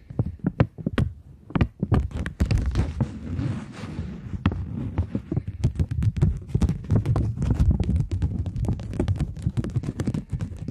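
Long nails tap and scratch the face of a flat, taut polymer plastic £20 banknote. The result is a rapid, dense run of soft low thumps and sharp, bright clicks, with a brief rough scratching hiss early on. The sound is dry, with almost no ring.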